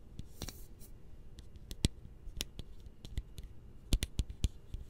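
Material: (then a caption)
Metal. Fingertips and nails tap and scratch along the hollow metal body of a tall, cylindrical, purple-labelled aerosol spray can with a yellow-topped cap, held in hand next to the microphone. The result is a quiet series of short, dry clicks and ticks with bright, high edges and soft low thumps, separated by faint scratching.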